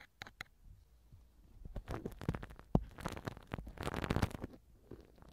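A black silicone-tipped ear pick, held in the fingers, rubs and scratches inside the right silicone ear cover of a TASCAM microphone, soft tool on soft silicone. Quiet, muffled, low-heavy rubbing and scraping comes in uneven bursts, building to a denser scratchy stretch in the middle before easing off again.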